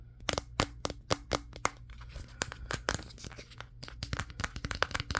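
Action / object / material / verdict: tap / smartphone with a glass back / glass / none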